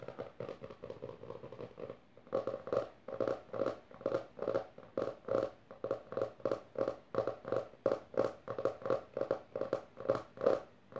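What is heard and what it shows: Fingertips and long nails tap and scratch the maroon textured cover of a closed hardcover book resting on purple fabric, first with one hand and then with both. A quick, soft patter of dry taps for about two seconds gives way to louder, rhythmic bursts of tapping and scratching with a hollow tone around 535 Hz. Each hit dies almost at once.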